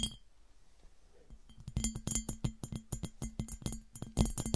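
Long nails tap on the top and sides of an empty, smooth, clear, hollow glass piggy bank, which is then held and tilted. After a quiet opening, a quick run of sharp, bright clinks begins, each with a very short ring. A low, hollow tone carries beneath the taps.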